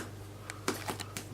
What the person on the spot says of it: to make sure that they are cooked even at the golden brown is to tap the bottom and if it sounds Hollow